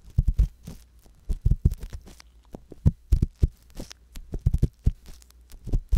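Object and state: Ear pick scraping inside a silicone ear.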